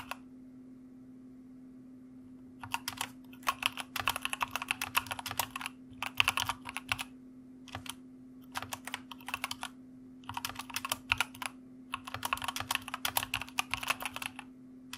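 Both hands type rapidly with their fingertips on a full-size white plastic mechanical gaming keyboard with red-lit keycaps, resting on a cushioned wrist rest. After about two and a half seconds of near silence, bursts of sharp, bright key clicks come in quick runs separated by short pauses, over a faint steady low hum.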